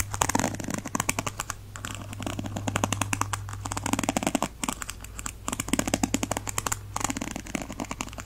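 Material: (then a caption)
Plastic. A thin white plastic stick is dragged and scratched across the ball-tipped bristles of a black and teal plastic paddle hairbrush. Each pass makes a rapid run of dry, crisp plastic clicks that stop briefly between strokes. A steady low hum sits underneath throughout.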